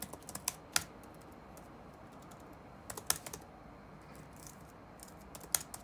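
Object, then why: Plastic laptop keyboard. Fingertips of both hands tap the keys of a dark plastic chiclet laptop keyboard resting on a wooden desk, the hollow keys clacking over the solid chassis. Sharp, bright clicks come in irregular bursts, clustered near the start, around three seconds and near the end, with quiet hiss between them.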